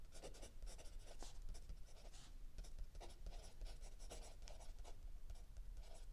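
A mechanical pencil writes continuously on a lined paper page of a spiral-bound notebook lying flat on a wooden table, with an open paperback book resting still under the other hand. The result is a quiet, steady run of bright, papery scratching strokes over a low background rumble.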